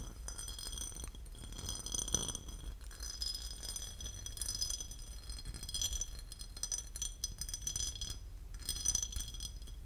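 A porcelain lid is tapped and scratched, giving bright ceramic clinks and a rattly, high-pitched scratching texture. The sound comes in quick, closely spaced bursts over a steady low background hum.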